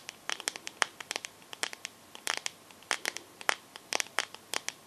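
Long nails tap and scratch the glass back of a teal smartphone held sideways. The result is a quick, irregular run of sharp, dry, bright clicks with brief scratchy bursts between them. Each tick dies away instantly, with no low-end body.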